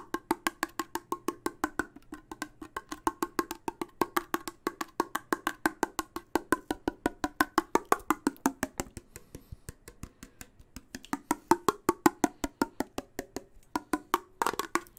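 A closed, full steel soup can with a yellow label stands near the microphone while its ridged metal lid is tapped with fingertips and nails. About 80 quick, dry taps come in a steady stream, each a short clicky knock around 320 Hz that dies away almost at once. The tapping thins briefly around the middle and ends in a fast flurry.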